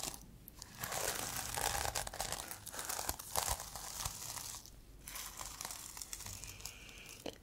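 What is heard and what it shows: A plastic sequin-covered notebook is held close to the mic while long nails scratch across the sequin cover and flip the sequins between blue and multicolour. The result is a dense, bright crinkling and scratchy rustle that swells and fades in bursts, with a soft clicky sparkle from the flipping sequins.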